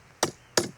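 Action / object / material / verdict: strike / stone slab / stone / split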